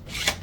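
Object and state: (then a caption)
3D-printed collapsing sword with tight tolerances, no rattle. A 3D-printed plastic print-in-place collapsing sword with tight tolerances is shaken, giving only a soft, brief hiss of friction that peaks once in the middle with no rattle. The parts stay snug and quiet.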